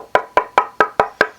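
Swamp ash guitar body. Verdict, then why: Resonant. A swamp ash guitar body, lighter than northern ash, is tapped six times. Each tap gives a bright, ringing tone centered around 1.5 kHz. The body has a strong, significant ring and a much better tap tone than northern ash.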